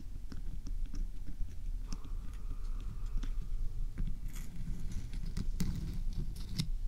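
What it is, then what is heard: Rock salt lamp, scratched and tapped. A large, solid, glowing pink Himalayan rock salt lamp, mounted right in front of a binaural microphone, is scratched and tapped across its rough surface by both hands with long painted fingernails. Dull, low, muffled knocks mix with dry scratching and short, bright nail clicks that stop almost at once, holding a steady, quiet texture throughout.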